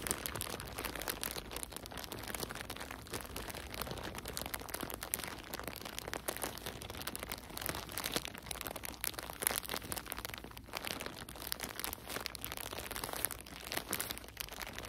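A thin, clear, printed plastic bag full of cotton balls is squeezed and crinkled by nitrile-gloved hands. It makes a steady, quiet stream of dense, bright crackles and crinkles, with rapid, dry snaps that stop instantly and have no ring.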